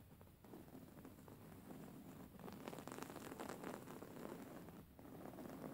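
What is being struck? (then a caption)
Embroidered cotton pillow. Long fingernails scratch a soft, stuffed white cotton pillow with raised embroidery, the hands moving close by. A quiet, continuous rustling scratch with a low, soft body runs throughout, growing slightly denser toward the middle and briefly dipping just before the end.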